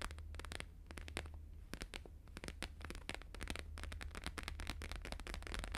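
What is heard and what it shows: Fast fingertip and nail tapping with both hands on a thin, flexible, flat square sheet of plastic-laminated holographic paper lying on a fur rug. Dense, rapid, crisp clicks and crackles run throughout, each dying out almost at once, over a steady low hum.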